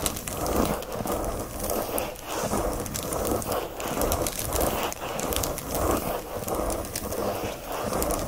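Fingernails scratch fast and hard across the thin glossy black plastic sleeve wrapped around a flat pack of watercolor paper lying on a blanket. The result is a continuous, crinkly, hissing scrape with a loosely rhythmic back-and-forth swell of about one and a half strokes per second, strongest in the mid range with a bright edge.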